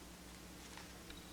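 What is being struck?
Nothing is struck.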